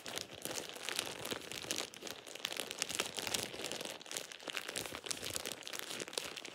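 A thin plastic shower cap is squeezed and crinkled by hand in dim light. A steady, bright crackling crinkle runs throughout, with dense, sharp rustling textures and very little low end.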